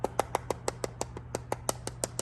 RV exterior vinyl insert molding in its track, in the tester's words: when you tap on that and that stuff is loose, and sometimes it's not all loose, well, this one's very loose